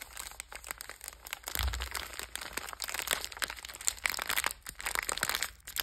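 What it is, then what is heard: Crinkled plastic biscuit pack. Fingers with long red nails squeeze, crush and crinkle a sealed purple Bisbox biscuit pack of metallized plastic film, full of cookies, then turn it over to show the back. A dense, bright crinkling runs throughout, with many sharp little crackles and crunches and a brief low thud near the start.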